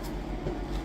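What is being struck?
Nothing is struck.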